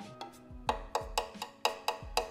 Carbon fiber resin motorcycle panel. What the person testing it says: bunyinya beda kalau resinnya memang kualitas kayak keramik